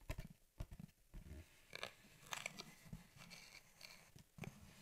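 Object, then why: Cardboard shipping box. Long painted nails and fingertips tap and rub the flat printed top of a hollow USPS Priority Mail cardboard box with its lid open. Soft, low hollow thumps mix with bright, clicky nail taps and quiet papery rubbing, each tap dying away almost at once.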